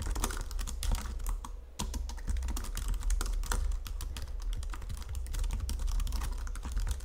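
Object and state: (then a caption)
Plastic computer keyboard being typed on. Long-nailed fingertips type rapidly on a white plastic Logitech full-size keyboard under red lighting. The result is a dense, steady patter of quick, short clicks and taps over a low, thumpy body, with a brief lull just before the two-second mark.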